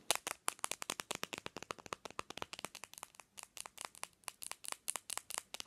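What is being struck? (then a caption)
Smartphone, glass and plastic. Long fingernails rapidly tap the edge and textured plastic back of a bare black Samsung smartphone, made of glass and plastic, lying on a pillow. About 36 quick, sharp, bright clicks come in a steady rhythm, each dying away almost instantly with no low rumble.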